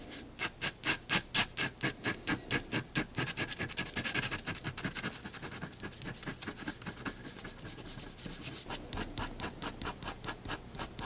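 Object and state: Pen hatching on drawing paper.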